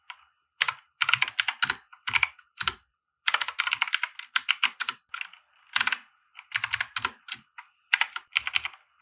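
Fingertips of both hands type on a compact 60% mechanical keyboard with white plastic keycaps and RGB lighting, resting on a felt desk mat. Quick bursts of sharp, bright plastic clacks centered around 2.7 kHz are separated by brief silent pauses. Each keystroke dies away almost instantly.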